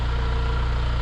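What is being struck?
Nothing is struck.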